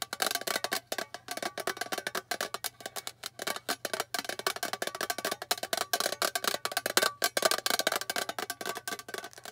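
Long fingernails quickly tap and scratch the bare silver underside of a small, flat, rectangular hollow metal tin box. The result is a rapid, continuous stream of short, dry clicks and scrapes with almost no ring, sounding bright and tinny with a hollow tone.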